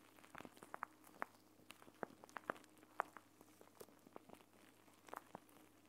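A clear plastic gel bead eye mask, a pouch filled with green gel beads, is held in both hands while fingertips and nails squeeze and rub it, crinkling the plastic. Quiet, sharp crinkles and small clicks pop out irregularly over a soft, steady background hiss, each snap dying away almost instantly.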